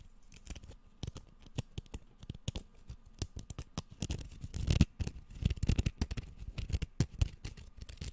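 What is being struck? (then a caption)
Bamboo slat sushi mat. A bamboo slat sushi rolling mat, first rolled into a tube and then opened flat and held upright, is scratched by fingertips and nails running across its ridged slats close to the microphone. Quick dry clicks and scrapes come in irregular bursts, mostly low and thumpy with brief bright ticks. The sound grows denser and louder around the middle, then settles into scattered taps.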